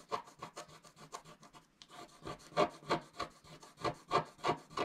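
A wooden stylus scratches a flat coated scratch-art sheet in about sixteen short, dry rasping strokes at a loose, uneven rhythm of roughly three per second. The strokes carry a bright, papery hiss with a brief quiet gap near the middle, and the later strokes are louder and firmer.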